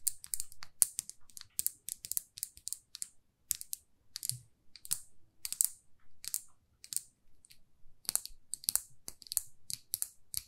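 Long fingernails tap on a small glossy red lacquered lipstick tube with a silver band, making a quick, irregular run of sharp, bright clicks. Each tap dies away almost instantly, with faint low thumps beneath the brittle high ticks.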